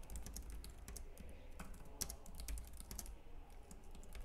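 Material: Plastic.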